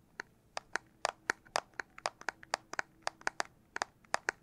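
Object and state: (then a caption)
Handheld game console tapped (plastic casing). Fingers tap on the plastic back casing of a Nintendo Switch Lite handheld console in about 4.5 seconds. About 20 sharp, dry clicks come in an uneven rhythm, each dying away almost at once, with a bright tone around 1.7 kHz and high overtones over a quiet background.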